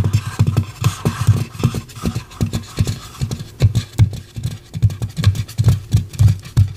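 Long pink acrylic nails scratch and tap a light, head-sized white polystyrene foam mannequin head held in both hands. The result is a steady run of quick, dull, low thumps with brief scratchy rasps between them, each tap dying away almost at once.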